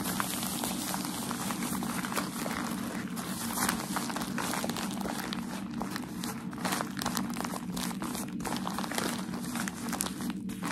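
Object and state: Tissue packaging paper being crinkled.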